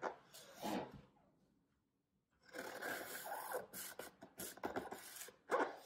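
A small knife blade repeatedly slices parallel vertical cuts into a solid green floral foam brick. Short, crunchy scraping strokes with a bright, hissy texture come in bursts, with a near-silent pause early on before the cutting resumes.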